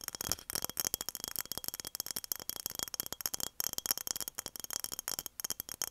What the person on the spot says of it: 7:26 - tapping on mason jar